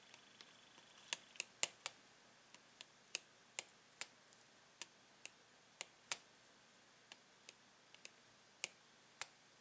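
A metal pen tip taps quickly on a clear plastic blister pack holding paint pens, producing 18 sharp, bright clicks at an uneven pace. Each click is quiet and very short, with almost no ring.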